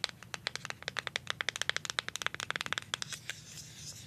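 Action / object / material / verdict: tap / plastic deodorant stick / plastic / none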